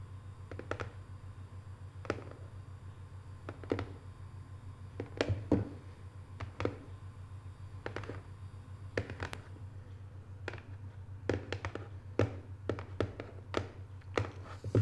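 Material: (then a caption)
Cardboard. Long nails tap the lid of a small, closed, hollow rectangular cardboard box decorated with Paris photo prints. The soft, short, dry taps come at irregular intervals, some in quick pairs and clusters, over a steady low hum.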